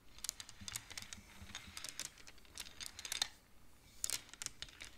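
Fingertips and long nails rapidly push colored wooden beads along the metal rods of a large wooden-framed abacus, so the beads clack together. The result is a quiet, irregular stream of dry, bright clicks that stop almost instantly, some in quick bursts, over a faint low hum.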